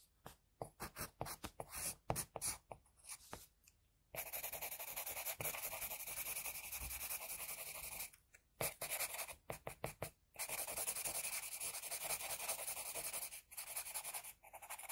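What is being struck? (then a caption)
Graphite pencil on a paper drawing sheet. Fingers guide a pink HB wooden pencil along the hair outline of a finished pencil portrait on a flat sheet of drawing paper lying on a desk, the graphite tip scratching the paper. Quick bursts of short, bright, dry strokes alternate with longer stretches of steady, continuous hissing scratching. The strokes end abruptly with almost no ring.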